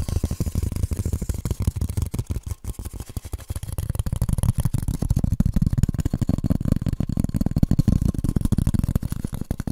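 A piece of polystyrene foam is tapped rapidly and continuously for almost ten seconds. Each tap is a short, dull, low thud that dies away almost instantly, with the sound growing slightly fuller in the second half.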